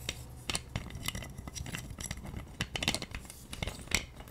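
A hand-sized plastic massage roller with a pink hard plastic handle and white spiked plastic rollers is tapped and scratched with long nails. The result is a rapid, uneven run of sharp, bright plastic clicks and dry scratching rasps that die away almost instantly, over a faint low hum.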